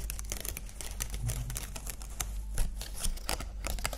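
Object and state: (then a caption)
Plastic butterfly decoration. Long nails tap and scratch across the wings of a small green plastic butterfly ornament, making a dense run of quick, bright plastic clicks and scratchy ticks. A steady low hum sits underneath throughout.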